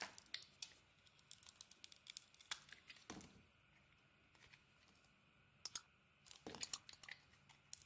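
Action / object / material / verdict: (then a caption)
scrape / solid soap bar shaved with a metal blade / soap / none. A solid pink bar of soap, held in the hand, is shaved with a metal snap-off blade, peeling off translucent soap curls. Quiet, bright, crisp scraping and crackling ticks come in quick clusters, with a short lull in the middle before the shaving picks up again.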